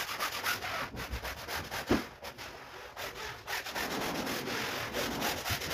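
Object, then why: Woven rug scrubbed with a stiff-bristle brush. A long-handled stiff-bristle brush scrubs repeatedly across a large, wet, foamy woven rug lying on a marble floor. The sound is a steady, rough, bristly scraping in quick back-and-forth strokes, with bright hiss and one louder dull knock early on.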